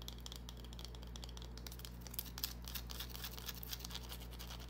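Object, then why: Small bar of soap scratched with fingernails. A small, solid green bar of soap held in the palm is scratched with long nails, producing quiet, dense, bright scratchy clicks and crinkly ticks. A steady low hum runs underneath, and the scratching grows slightly louder and more pronounced toward the middle of the clip.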